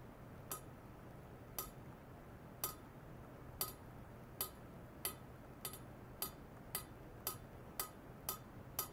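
A long, hollow, shiny stainless steel pipe lying horizontally on white foam-net supports on a lab bench is tapped 14 times near its middle with a thin metal rod. Each tap gives a brief, bright metallic clink with a high, glassy ring that fades quickly over a low, steady background hum.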